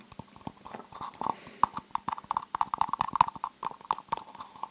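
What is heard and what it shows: A cup is tapped on its edges and angles in a rapid, uneven series of short, dry clicks. Each tap carries a faint ringing tone near 1 kHz and dies away almost instantly.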